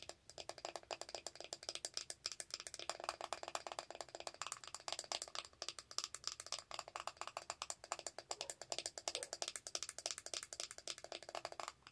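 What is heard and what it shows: Long acrylic nails tap and scratch rapidly on the lid of a small, round, closed plastic powder compact. The result is a dense, continuous stream of short, sharp clicks and scrapes that fade almost instantly. The sound is bright and crisp, with almost no low end.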